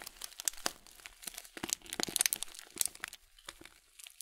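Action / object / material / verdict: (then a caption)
scrape / plastic cereal bag with oat flakes / plastic / none. A full blue Kölln plastic cereal bag of oat flakes is turned in the hands, squeezed and crinkled with the fingertips. The result is a quiet, steady run of bright, dry crinkles and crisp crunches with almost no low end, each snap cutting off instantly.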